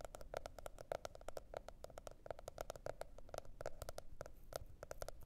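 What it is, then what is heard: Cardboard hardcover notebook. Long red nails rapidly tap and scratch the cover of a teal, spiral-bound cardboard hardcover notebook. The steady stream of short, dry clicks has a hollow knock centered near 600 Hz. A faint scratchy hiss runs between the taps.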